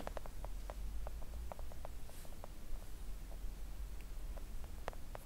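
Long acrylic nails on both hands gently tap a thin, solid, flat pink silicone nail art mat resting on a table. Soft, short clicky taps come in an irregular patter, each dying away almost at once. They sit over a steady low hum that dominates the quiet clip.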